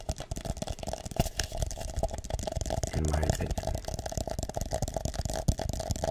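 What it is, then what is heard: Plastic cup. Fingertips tap and rub the base and sides of an empty, hollow, drinking-cup-sized purple plastic cup held up close in both hands. Quick, dry taps with almost no ring mix with soft rubbing. Around the middle comes a brief low, buzzing rattle-like stretch.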